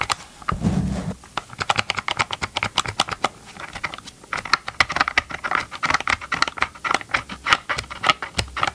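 Gloved fingertips tap and scratch the hollow hard plastic motor housing of a Ryobi chainsaw held upright, giving quick, dry clicky taps with a bright plastic ring around 1.2 kHz and no lingering resonance. Near the start, a brief low, rumbling scratch lasts about half a second before the taps settle into a steady, irregular patter.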